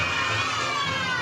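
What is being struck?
Nothing is struck.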